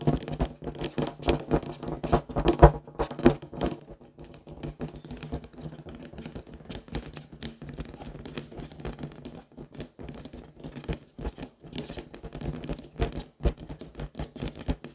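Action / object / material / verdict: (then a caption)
tap / inflated latex rubber balloon / latex rubber / none. A large pink inflated latex balloon, hollow and air-filled, is tapped with long decorated fingernails. Many quick, dull, low thumps come in uneven bursts, louder and denser for the first few seconds, then softer and steadier. Each tap dies away almost at once.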